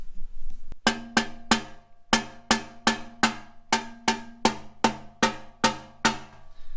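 A new steel exhaust muffler is knocked 14 times for comparison, giving sharp metallic knocks with a short ring around a pitch of roughly 227 Hz. A faint hum sits underneath.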